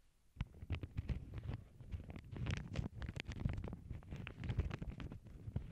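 Long acrylic nails scratch and rub across the surface of a small, flat, empty lavender paper bag resting on a cork board. After a brief quiet start, a dense run of short, rapid scraping and crinkling strokes follows, with a heavy low rumble beneath occasional bright, crisp edges.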